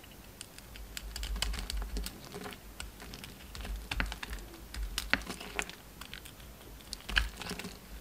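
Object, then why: Bar of soap cut with a knife. A utility knife chips and scrapes chunks off a solid pink soap bar, held in the hand, that still has red remnants of its coating. Quick, crisp, bright clicks and short scrapes come in an irregular, steady patter over a soft low rumble. Each cut snaps off sharply with almost no ring.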